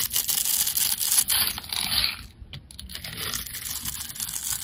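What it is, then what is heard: Soap bar scraped with a blade. A metal blade scrapes the cubed surface layer off a solid dark grey rectangular soap bar that has been pre-scored into a grid. The result is a dense, bright, crumbly scraping and crackling, loudest at the start. It briefly drops off midway, then continues more softly.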